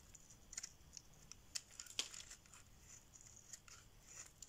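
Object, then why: Bar of soap. A metal blade scrapes and carves a solid cream-white rectangular bar of dry soap held in the hand, curling off shavings. It gives a quiet, bright, crisp scratching with scattered sharp, dry clicks and crackles that stop almost instantly, with hardly any low end.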